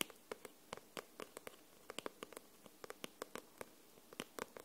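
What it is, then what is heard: Paperback book cover tapped with nails. Long nails tap and scratch the glossy paper cover of a solid paperback book held upright. About 21 quiet, sharp, bright clicks sound in an uneven rhythm, each dying away at once with no ring, over a faint hiss.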